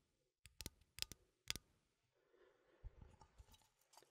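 A small cylindrical metal coffee tin, held in one hand, has its side and lid scratched with fingernails. Sharp, bright metallic clicks come first, followed by a softer, continuous scraping texture dotted with small ticks. The sound is quiet and close, with very little ring after each click.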